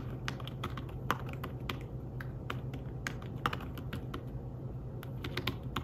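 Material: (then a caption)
Fabric. Fingertips type in fast bursts on a thin, flat, grey fabric-covered folio keyboard for a tablet. Quick, soft, dull key taps with brief bright clicks fade almost instantly, sitting over a steady low hum.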